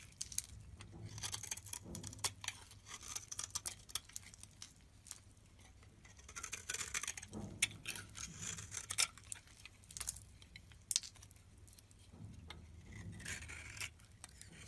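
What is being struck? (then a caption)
Bar of soap. A utility knife blade shaves crumbly layers off a yellow rectangular bar of solid soap held in the hand. Bright, crisp scraping and crackling bursts come in irregular runs with short quiet gaps, over a faint low hum.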